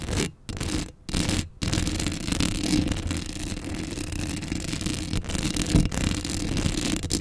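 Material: Metal mesh.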